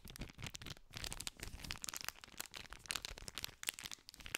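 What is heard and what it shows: Two hands hold a small green cardboard candy pack wrapped in clear cellophane film while fingers scratch and crinkle the wrapper. The result is a continuous stream of quick, crisp crackles and rustles, bright and dry with almost no ring, over a soft low rumble of handling.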